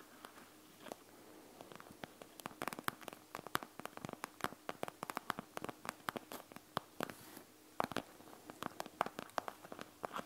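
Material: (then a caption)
Plastic. Long nails scratch quickly over a panda gel bead eye mask with a clear plastic shell filled with gel beads, lying flat on a wooden table. Dozens of sharp, dry plastic clicks and scrapes come in rapid, uneven bursts over a faint hiss, each one cut off almost instantly.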